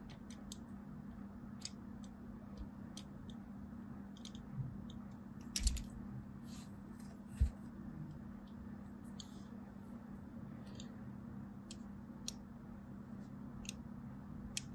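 The thin blade tip of small scissors scores lines into a solid mint-and-white striped soap bar held in hand. Brief, dry scratching clicks with a bright edge come at irregular intervals over a steady low hum, with a few sharper scrapes standing out.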